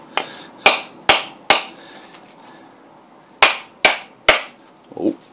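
A hand-sized, hairy brown coconut with a hard hollow shell, held in a black-gloved hand over a cloth on a kitchen counter, is knocked repeatedly with the back of a large metal knife blade by the other gloved hand to crack it open. Seven sharp, bright knocks ring briefly, four in quick succession, then a pause before three more. A softer, lower-pitched sound closes the clip.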